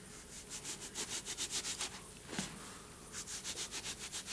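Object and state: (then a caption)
Cornstarch and gym chalk powder. A hand scoops loose white cornstarch and gym chalk powder from a bowl, letting it sift and pour through the fingers while the fingers rub through the powder. Soft, bright, hissing rustles come in quick, fairly regular pulses, with a short pause and a single louder soft thump in the middle. The pulsing rub then resumes.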